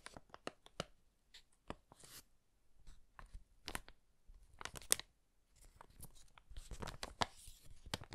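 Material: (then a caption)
Paper. An empty brown kraft paper bag with handles is held in both hands while its flat surface is rubbed and crinkled with fingertips. Quiet, bright paper crackles and crisp rustles come in uneven bursts of short, sharp snaps with brief pauses between. The clusters grow denser and more continuous toward the end.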